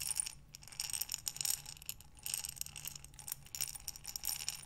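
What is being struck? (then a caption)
Buttons in a glass jar. A glass mason jar with a metal lid, filled with buttons, is rotated and tilted in both hands with long nails. The buttons clink and rattle against the glass in repeated bright, crisp bursts with very short decay. The sound comes in uneven waves as the jar is turned.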